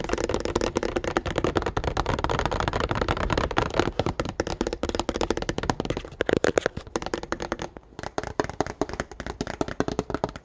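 Fingertips rapidly tap and scratch the hollow clear plastic blister bubble and the printed cardboard card of a calculator package. The sound is a dense stream of dry, crackly clicks with a hollow midrange body and no ring, easing briefly near the eight-second mark before the tapping resumes.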